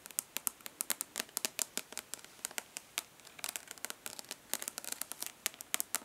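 Long nails tap rapidly on the embossed lid of a rectangular, hollow plastic eyeshadow palette held in one hand. Dozens of quick, dry, bright clicks sound with almost no ring or low end, at times bunching into denser clusters of crisp, crackly taps.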